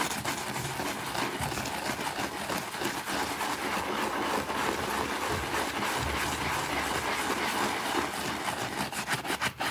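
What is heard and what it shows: A white plastic bristle brush scrubs a small, thin, green fabric rug with a rabbit print, wet and soapy, on a concrete floor. A steady, wet, bright scratching rasp runs through the whole clip in quick back-and-forth strokes, with slight swells as the brush moves.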